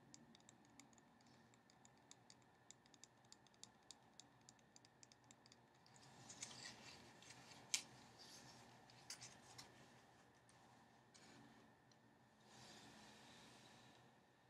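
A small, full cardboard playing card box is tapped with fingernails while held over a wooden board, giving quiet, bright, dry clicks in a quick, uneven series. Around the middle the sound turns to scratchy rubbing with one sharper knock, then a few more taps and a soft rustling hiss as the box is set down.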